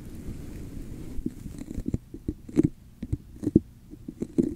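Long acrylic nails tap and scratch a red hollow plastic cup with a raised scale-like diamond texture, set upside down over a microphone. A soft, muffled scratching runs underneath a scattered series of dull, hollow taps. The taps are low and boomy, centered around 300 Hz, and die away almost instantly.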